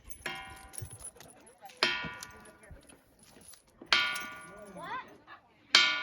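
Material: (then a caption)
Monzonite. A rock hammer strikes a monzonite boulder at the Ringing Rocks in Montana four times, and each blow rings out like a bright, high chime that slowly fades, with faint voices between strikes. The boulder gives about the same tone wherever it is hit, a ringing said to depend on how the boulders are piled and the empty space beneath them.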